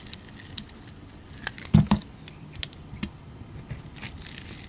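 A utility knife blade scrapes and shaves the surface of a round, solid, translucent clear glycerin soap disc with green glitter and a blue painted rim, held in the palm. Soft, crackly scraping and fine crinkling shaves run throughout, with brief bright ticks. Two louder, thicker scrapes stand out just before the two-second mark.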